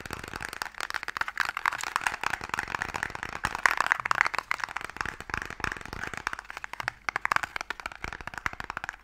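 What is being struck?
Small wooden box.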